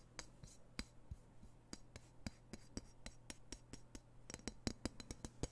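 Fingertips tap and scratch a solid, dark steel knife blade close to the microphone, producing about twenty short, dry clicks with bright, clinking tops and almost no ring. Soft scratchy rubbing fills the gaps over a faint steady low hum, and the taps grow quicker and denser toward the end.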